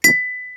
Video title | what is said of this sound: Mr O'Toole Water Glass Experiment | when I tap the side of the glass it vibrates very quickly and this radiates a sound that we hear in our ears